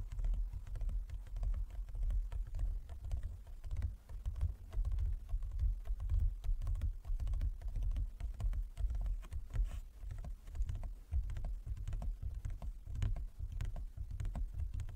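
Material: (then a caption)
Wood. Fingertips and nails of both hands tap rapidly across a large, closed, hollow wooden folding chess board. The dense, uneven patter of quick, dry taps carries a low, hollow thump around 70 Hz. Each tap fades quickly, keeping the sound close and woody throughout.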